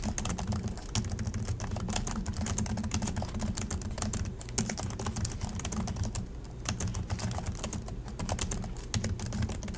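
Both hands type continuously with their fingertips on the low-profile plastic chiclet keys of a silver Acer laptop. The result is a dense, fast stream of light, bright clicks and taps over a steady low hum, with a few louder keystrokes standing out.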